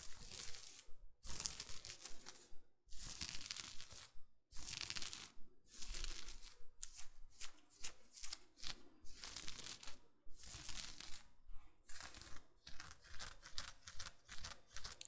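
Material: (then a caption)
Lace fabric. Fingernails scratch the lace overlay on the chest and shoulders of a navy blouse being worn, making crisp, crinkly bursts of bright scratching. The strokes come in fairly regular runs separated by brief silent pauses, with a faint low rumble underneath.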